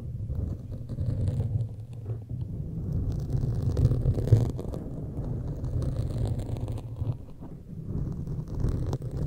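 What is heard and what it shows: Long pointed metal claw fingertips scratch and tap a black foam windscreen on a large microphone. The result is a dense, muffled, low rumbling scrape, with soft thumping taps that rise and fall in loudness and almost no high end.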